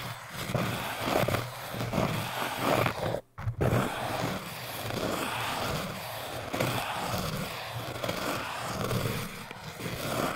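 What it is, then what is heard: Hard foam cylinder scraped. A metal needle and a crochet hook, held by the fingertips, are scraped along the surface of a tall orange hard foam cylinder. The result is a continuous, gritty scratching with rhythmic rasping strokes and a low hum beneath. A brief silent gap occurs just past three seconds.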